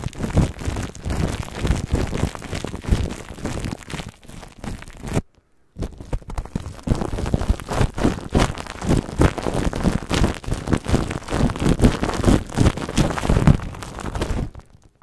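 Long nails on both hands scratch and rub clear plastic cling film wrapped over a microphone head. The result is a dense, close, muffled crinkling and crackling with a heavy low-end thump, broken by a brief silence around five seconds before the rustling resumes and fades out at the end.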